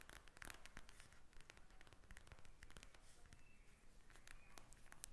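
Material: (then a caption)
Plastic. Long nails scratch and tap a pink gel-bead plastic eye mask lying flat. The result is a quiet, steady run of sharp, dry clicks and ticks mixed with scratchy rustling over a low, soft background rumble.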